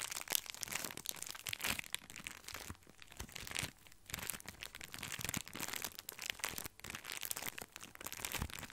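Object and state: Plastic-wrapped breadsticks.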